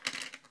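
A light plastic battery cover from a Nexus S phone is dropped onto a table, giving two quick, bright ticking clicks with almost no low end. The thin, high-pitched clatter dies away fast, matching a cover that feels cheap and very light.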